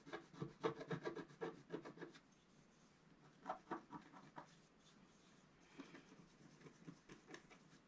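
A wooden stylus rubs and scratches the top right corner of a flat black coated scratch art paper sheet lying on a table. Quick, dry, raspy scratching strokes come in a dense flurry at first, then in shorter bursts separated by quiet pauses. Each stroke is soft and stops short, with no ringing.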